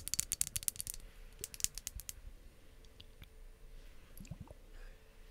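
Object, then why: Glass ice globe roller handle. Long acrylic nails tap the glass handle of a clear glass ice globe roller with a pink-filled ball. A quick run of about thirteen sharp, bright clicks with almost no ring comes in the first two seconds, then a few faint, scattered ticks follow over a quiet background.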